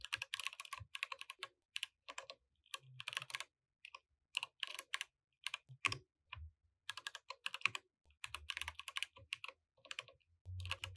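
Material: Plastic.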